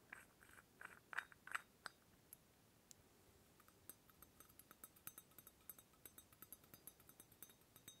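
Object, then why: Small brass oil lamp. A small hollow brass ornamental oil lamp is held up close while fingertips work its lid and top fitting. Light, bright metal clinks and soft rubbing come in a quick, uneven series. A few louder clusters open the clip, then steadier, quieter taps follow.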